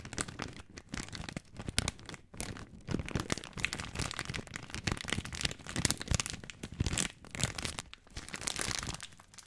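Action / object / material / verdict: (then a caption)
scrape / plastic film pasta bag / plastic film / none. A full plastic-film spaghetti bag, held horizontally in both hands, is squeezed and crinkled with the fingertips. Dense, bright crackling and crunching runs almost continuously, with a soft low rustle beneath and brief lulls just after two seconds and near eight seconds.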